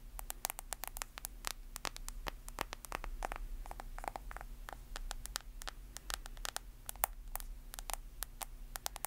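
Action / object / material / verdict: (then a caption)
tap / smartphone with glass screen and plastic case / glass / none. A smartphone held sideways has its glass screen and plastic case tapped and scratched with long nails. Rapid, irregular sharp clicks ring out, each dying almost instantly, over a steady low hum and faint hiss.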